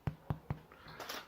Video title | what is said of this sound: Hot Buns - (Ingredients in Description) | could test the doneness by tapping on them and if it sounds hollow you're done